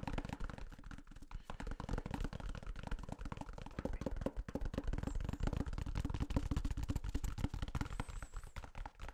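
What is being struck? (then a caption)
Paper toilet roll with cardboard core. Fingertips tap and scratch the flat paper end of a full, hand-sized white toilet paper roll, soft paper wound around a hollow cardboard core, held face-on to the microphone. A dense stream of quick, soft, muffled thumps and papery rustles runs throughout, heavy in low end and dying out almost instantly. A faint high tone appears near the end.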